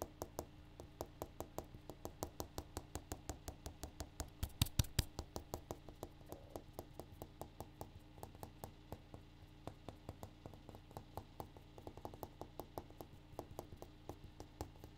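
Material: Granite.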